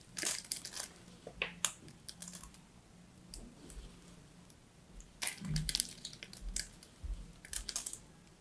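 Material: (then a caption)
Soap. A small metal blade scrapes and chips the dry surface of a solid striped bar of soap. Bright, crisp scratching and crackling come in quick clustered bursts, separated by quiet pauses. A faint low hum sits underneath.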